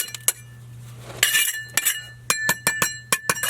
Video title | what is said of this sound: How to Parge A block Foundation | sometimes when you hit this stuff you can kind of tell that it's not really stuck onto the block it kind of sounds like it's hollow